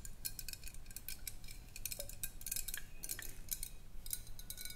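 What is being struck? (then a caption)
Glass swing-top bottle. Long acrylic nails tap and scratch the side of a large clear glass swing-top bottle with a metal cap, held sideways and appearing to contain some liquid. Quick, bright, dry clicks come at an uneven, fairly fast pace, each dying away almost at once, with soft scratchy textures between them over a low, steady background rumble.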